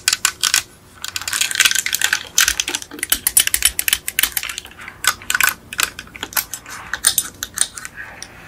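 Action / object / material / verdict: tap / die-cast metal toy car / metal / none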